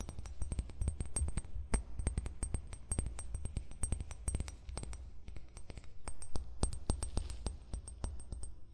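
An empty amber glass wine bottle lies with its base toward the mic while short fingernails tap and scratch the base. The result is a quick, irregular run of dry clicks and light glassy clinks over a low, hollow thump, each tap dying away almost at once.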